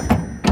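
Two knocks on the side of a large metal trailer container with big side and back doors land about 0.4 seconds apart. Each is a short, low, hollow thud with a slight tone around 234 Hz that dies away quickly. The sound marks the container as empty, with nothing in it.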